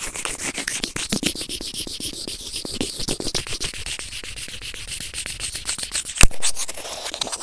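White plastic tweezers rub and scrape a white plastic earphone inline remote microphone resting on felt. Rapid, close, dry scratching strokes run throughout, with bright hiss and low rumbling thumps. A sharper, louder snap comes near the end.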